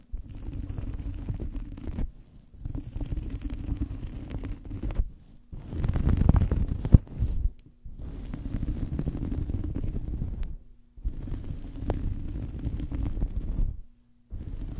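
Long fingernails scratch a small fabric towel draped over a microphone. The result is a deep, muffled, rumbling scrape that comes in sustained bursts separated by brief silences, with almost no high or bright content.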